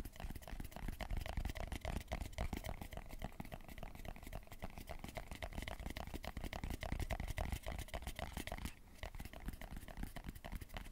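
Fingertips and nails tap and scratch the lid and sides of a small, closed round hair pomade tin with a black lid and a yellow label, held in both hands close to the mic. Quick, uneven taps and scratches run continuously, with short crackly transients over a heavy low thump and a faint brighter scratchy edge.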